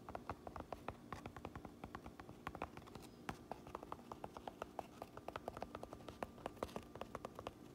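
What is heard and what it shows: Long nails tap and scratch across the crown, the mountain patch and the brim of a black cotton baseball cap. Rapid, dry, soft clicks follow one another in a steady, irregular stream, each dying away almost at once, over a faint constant low hum.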